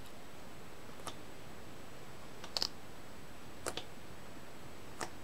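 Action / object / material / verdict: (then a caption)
tap / plastic video game case / plastic / none. Long nails tap six times on the front of a Rayman Origins Wii game box, a hollow plastic case with a paper insert under a clear sleeve, held in the hand. Each tap is a light, bright click, and some come in quick pairs. Quiet hiss fills the gaps between them.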